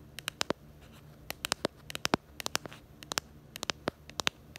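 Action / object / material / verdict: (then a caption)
tap / smartphone in plastic case / plastic / none. Long acrylic nails tap and scratch the back of a handheld smartphone in a pink plastic case with a black bumper. About two dozen sharp, bright clicks come in quick irregular bursts, each dying away almost at once, over a faint scratchy hiss.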